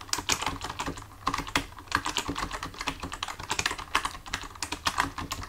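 Fingertips of both hands type steadily on a full-size black plastic computer keyboard resting on a desk, the hands staying on the keys throughout. Rapid, irregular clicky taps sound bright and dry with very little low end, each key stroke dying out almost at once. The rhythm pauses briefly near the one-second mark before the typing resumes.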